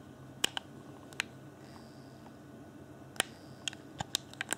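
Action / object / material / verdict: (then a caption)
tap / plastic game controller / plastic / none. Fingertips tap and click the top edge and buttons of a hollow, clear plastic Xbox One Afterglow game controller up close. Ten short, sharp, bright plastic clicks come in irregular bursts over a quiet, steady hiss, each dying away almost instantly.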